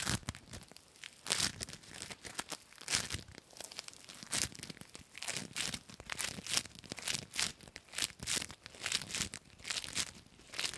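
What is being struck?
Foam bead slime.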